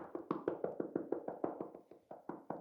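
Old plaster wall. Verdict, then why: Hollow. Rapid, even knocks on an old, dry plaster wall, each a short hollow tap with a resonant midrange tone around 350 Hz that dies away almost at once. The spot sounds very hollow, suggesting either a cavity behind it or blown plaster that has come away from the wall; which one is unconfirmed.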